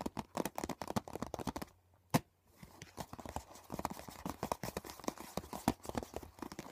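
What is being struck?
Plastic CD box set case.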